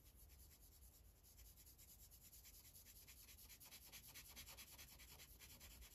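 A magenta Sharpie felt tip scribbles in short rubbing strokes across a thin white coloring page resting on a plastic clipboard. The sound is a quiet, steady, scratchy rubbing with a bright hiss, a soft low rumble underneath, and a loose, uneven rhythm of strokes. It grows slightly louder toward the end.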